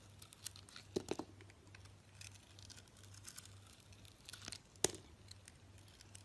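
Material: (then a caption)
Soap. A solid rectangular soap bar with a green glitter coating and an orange interior is shaved with a metal blade while held in the hand. Soft, bright scraping and crinkly crackles come through, with a few sharper cuts standing out. A steady low hum runs underneath.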